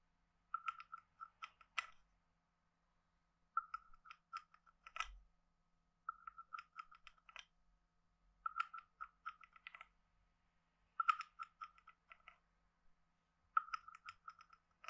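A hand-sized hollow carved wooden frog guiro, with a wooden stick scraped across its ridged back. Six bursts of rapid, dry clicking ratchets are separated by short pauses, each centered on a woody, hollow tone with bright edges on the sharper clicks.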